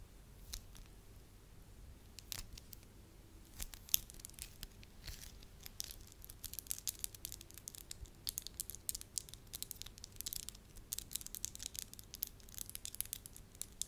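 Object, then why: Soft wax sheet. A soft, pale-yellow wax sheet is first stretched into a long strip, then bunched into a small lump while long nails pinch and tap it. Quiet, bright, sticky crackles and tearing-like clicks grow busier and denser over the second half, over a faint steady low hum.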